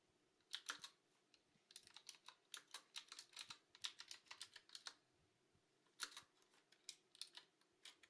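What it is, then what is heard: Mechanical keyboard with plastic keycaps. A black Qwerkywriter S retro mechanical keyboard with round plastic keycaps is typed on continuously by hands with long nails. Quick, bright, crisp clicks come in bursts with short pauses. Each click is dry and dies almost instantly, with no low-end thump.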